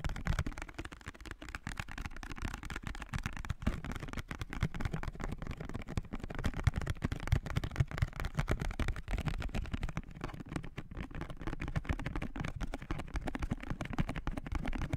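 Fingertips and nails tap and scratch the faces of a small blue printed cardboard perfume box held and tilted in both hands. The result is a steady stream of rapid, dry, dull taps and rustling scratches that are heavy in the low end and cut off instantly with no ring.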